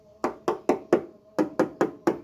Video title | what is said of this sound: MITSUBISHI CLOT 120SS. Review Kondisi Mobil Bekas & Cara Pengecekan Sebelum membeli. #Pemburukomisi | Kalau bunyinya nyaring, ini kan masih nyaring besi ya, jadi kayak besi dipukul, ini kemungkinan masih kaleng, cuma memang sudah pernah dicat.